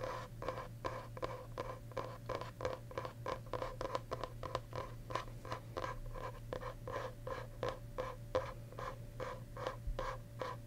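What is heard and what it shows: Fingernails and fingertips scratch the smooth green paper-covered board back of a solid medium hardcover journal held up in view. The result is a quiet, steady run of quick, short scratching strokes with a faint tonal ring near 500 Hz and 1 kHz over a constant low hum.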